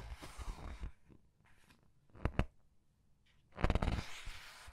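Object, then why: Paper pages of a large book. Long red-nailed fingers grip, squeeze and flip the thin printed paper pages of a large open paperback art book lying on a table, one page at a time. A soft papery rustle opens the clip, followed by a quiet stretch, then two sharp, quick snaps of paper close together. A louder, fuller crinkling rustle follows as a page turns and settles.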